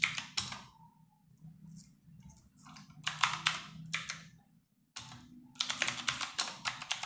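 Fingertips and long nails type rapid key presses on a compact 60% RGB-backlit mechanical keyboard with plastic keycaps sitting on a wooden desk. Sharp, bright clicks come in quick bursts with brief pauses between them, over a faint low hum.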